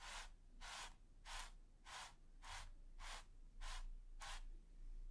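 A wide, flat bristle brush with a gold ferrule and teal handle is rubbed and scratched rapidly over a flat, taut, smooth white primed canvas. It makes eight evenly spaced, bright, hissing scratch strokes over a faint low rumble.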